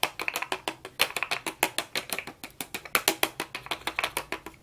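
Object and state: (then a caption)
Hollow plastic toy horse. A hand-sized hollow plastic toy horse on wheels, with a green head, orange body and blue wheels, is held in gloved hands and tapped and knocked with a toy plastic hammer, then worked over its body and screws with a plastic toy tool. About 30 quick, dry, bright plastic clicks and knocks come in an uneven rhythm, each dying away almost at once with no ring or low body.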